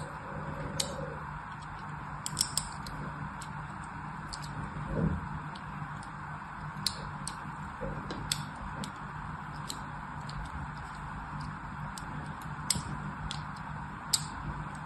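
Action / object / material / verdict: scrape / bar of soap scored with a thin blade / soap / none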